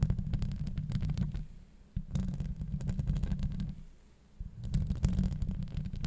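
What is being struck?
Metal wire-mesh microphone grille.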